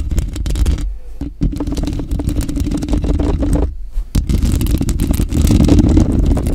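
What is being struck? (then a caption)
Woven metal mesh microphone grille. Lotion-coated fingers with long pink acrylic nails scratch and rub across the woven metal mesh grille of a large grey Blue Yeti USB microphone with a hollow head. The result is a dense, muffled, boomy stream of rapid, irregular scratches and rubs, heavy in the low end with a steady low tonal band underneath. The sound briefly drops out around the one- and four-second marks before resuming.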